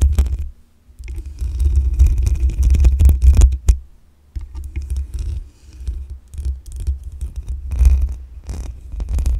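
Long acrylic nails scratch the black metal mesh grille on the hollow head of a desktop condenser microphone. The result is a deep, boomy rumbling with scratchy rasps and a faint high hiss above it, in uneven bursts broken by short near-silent pauses.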